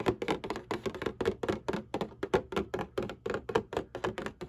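Long painted nails tap and scratch the bottom panel of a printed cardboard Kleenex tissue box lying on its side, hollow and partly filled with tissues. About two dozen quick, dry, hollow taps follow in a steady, uneven rhythm, each with a papery midrange knock and a faint scratchy edge. Each tap dies away almost at once.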